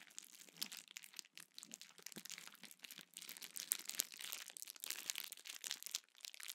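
A small sheet of clear plastic bubble wrap is held in both hands, squeezed and crinkled while bubbles are popped with the fingertips. It makes a quiet, dense, bright crackling and crinkling with sharp little pops scattered throughout and almost no low end.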